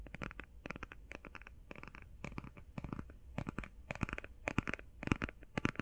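Long painted fingernails quickly tap and scratch a closed, flat, rectangular, hand-sized cardboard eyeshadow palette with a printed 'Dream St.' marble-pattern cover. The result is rapid clusters of dry, clicky taps with bright edges and a soft, low body, mixed with brief scratching. The taps die away instantly and grow slightly louder toward the end.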